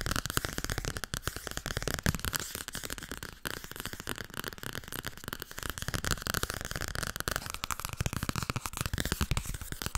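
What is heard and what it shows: A solid softcover paperback book, "Overdracht en tegenoverdracht", with a paper cover, is tapped quickly with long red nails. A dense stream of fast, dry, crackly taps and scratches runs throughout with no ringing, full of low thuds and bright clicky edges.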